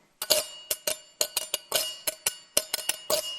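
A metal spoon is scraped along the ridged side of a tin can, making a scrapey sound from the little ridges. It comes as a quick run of short, bright metallic rasps, each with a faint ringing tone around 600 Hz.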